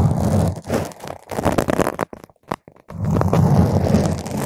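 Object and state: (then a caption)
Foam microphone windscreen being scratched. Long pointed green acrylic nails poke and scratch a purple spherical foam windscreen on a microphone, producing dense, muffled crunching and rustling with a heavy low-end rumble. The scratching briefly drops to near silence with a few isolated soft taps before resuming just as thick and crackly.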